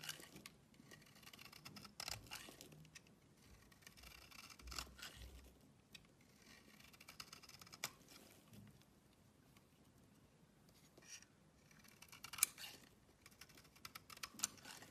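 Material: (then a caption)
Soap. An oval, solid purple bar of soap held in the palm is carved with a utility knife blade into thin, curling shavings. Quiet, bright, crisp scraping and shaving sounds come in irregular bursts, with a few sharper clicks standing out near the end.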